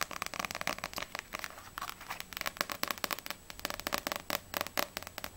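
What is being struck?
Paperback book with glossy paper cover.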